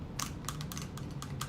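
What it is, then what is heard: Metal purse feet tapping on a surface. Metal purse feet installed on the bottom of a handbag click against a surface as the bag is tapped down repeatedly. The result is a series of light, sharp ticking taps over a low background hum.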